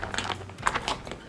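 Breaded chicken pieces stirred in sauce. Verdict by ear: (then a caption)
Crisp. Breaded General Tso's chicken pieces from a frozen meal are stirred into the sauce with a small spoon, producing a quick run of crisp, crunchy crackles and scrapes with bright clicks. The breading stays crispy while mixed because the sauce is not heated together with the chicken.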